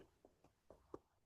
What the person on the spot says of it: on peut aller toquer dessus et ça fait du bruit un petit peu partout